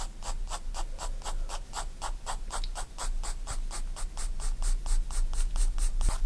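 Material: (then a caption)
Paper. A graphite pencil shades on a page of a spiral-bound paper sketchbook in quick, rhythmic back-and-forth strokes. Each stroke gives a dry, bright scratching rasp over a steady low hum, and the strokes repeat at a brisk, slightly uneven pace throughout.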